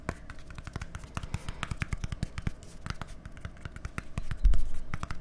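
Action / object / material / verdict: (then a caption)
tap / plastic deodorant stick / plastic / none. A small, hollow, white plastic deodorant stick with a green cap is held between microphones and tapped quickly with fingertips and nails. The result is a fast, irregular stream of short, dry clicks and taps over a low hollow thump, growing louder near the end.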